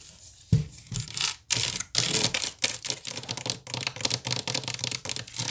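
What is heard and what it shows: Long nails scratch fast across the woven strands of a wicker basket. The result is a string of bright, dry, rasping scrapes in quick irregular bursts, with a faint low thump at the start of some strokes and very little ring between them.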